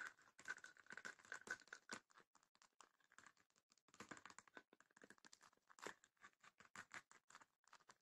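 Long nails tap and scratch the lid and side of a small, hollow, closed wooden chest with woven rattan panels. Dense, irregular clicks and scrapes pile up in quick bursts with short pauses, each hit dry and brief with a bright, papery rattle.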